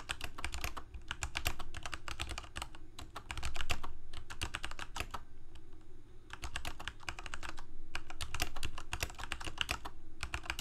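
Both hands' fingertips type continuously on a full-size black plastic Corsair K68 gaming keyboard with backlit keycaps, Cherry MX Red switches and a hollow plastic case. Rapid, uneven bursts of keystrokes produce sharp, bright clicks over a low, hollow thud from the case. Brief pauses break up the bursts.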